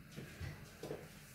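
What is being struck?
Nothing is struck.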